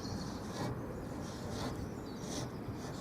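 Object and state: Nothing is struck.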